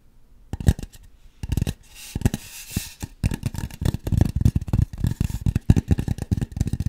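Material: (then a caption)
Styrofoam. Long nails scratch and tap the rounded surface of a white styrofoam mannequin head. After a quiet start, dull, low thumps come in short bursts, broken around the middle by a soft, brighter scraping rub. From about the three-second mark, the taps turn into a dense, irregular patter of short, dry knocks with almost no ring.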